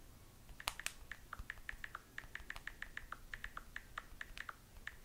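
Long nails tap quickly on the glass screen of a small, solid handheld smartphone held up while texting. There are 27 sharp, separate clicks, each with a short tonal ping near 1 to 2 kHz and a bright edge. The clicks sit over a quiet, low background hiss.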